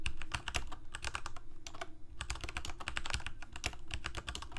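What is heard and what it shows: A Corsair K68 full-size mechanical keyboard with plastic keycaps, Cherry MX Red switches and a backlight sits on a desk and is typed on with the fingertips of both hands. Fast, steady keystrokes make short, bright clacks over a low, dull thump from each key bottoming out, with a brief lull near the middle. Each stroke dies away almost at once.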